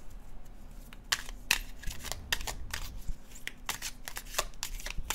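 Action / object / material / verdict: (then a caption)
scrape / paper card deck / cardstock / none. A red-orange illustrated cardstock tarot deck is overhand shuffled by fingertips, producing a steady run of soft papery flicks and crisp, bright card snaps. The snaps are short and dry, with little ring, over a low, quiet background rumble.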